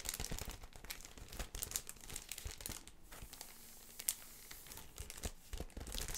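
Long red nails crinkle and scratch the clear plastic sleeve of a thin, flat laptop skin package with a card insert. The result is a quiet, continuous stream of bright, crackly crinkling with short sharp scratches and brief louder snaps.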